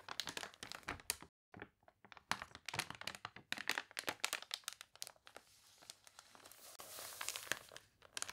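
Long nails scratch and crinkle the water-wrinkled pages of a thick, glossy paper toy catalog, making a dense run of sharp, bright crackles and crunches with almost no low end. A brief silence falls just after the first second, and near the end a page is turned with a steadier, hissy rustle before the crisp scratching returns.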